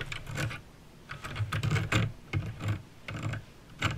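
Fingertips with painted nails type on a backlit mechanical keyboard with plastic keycaps and clicky green switches. Quick clusters of sharp, bright clicks ride over a low plastic thock, with brief pauses between bursts of keystrokes.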